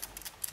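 A brand-new QUEST electronic brake controller, bought to install on a truck, is shaken in its housing and gives off several quick, bright, dry ticking rattles with almost no ring. The rattle continues even with the buttons held down and comes from a loose part inside the housing, so the unit is faulty.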